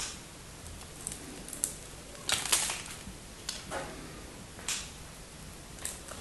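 A knife blade scrapes and cuts into the end of a solid pink bar of soap with white stripes, scored with crosshatch cuts, sending small flakes falling. Bright, crisp scraping crackles come in short bursts over a quiet background, with a louder rasping cut near the middle.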